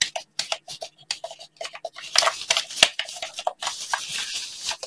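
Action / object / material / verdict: tap / plastic game controller / plastic / none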